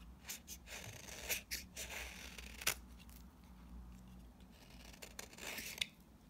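A metal utility-knife blade with a yellow handle scrapes and shaves curls off the face of a flat, rectangular orange bar of very dry, solid soap held in one hand. The result is a series of dry, crisp, bright scratching and cutting strokes with sharp clicks, over a faint low hum.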